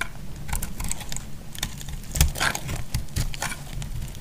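A hand-sized, semi-dry solid white bar of soap, held in the hand, is cut and shaved with a utility knife blade and crumbles into flakes. The result is a rapid series of short, crisp scraping clicks and crunches over a low, rumbling background, with bright crackly edges on each stroke.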